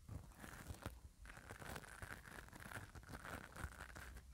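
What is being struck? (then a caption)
Metal mesh microphone grille and nylon brush. A black nylon spoolie brush is rubbed and scratched repeatedly across the metal mesh grille of a hand-held mini microphone. The result is a close, continuous scratchy crinkling and rustling with a heavy low rumble underneath and a steady band of hiss in the upper mids.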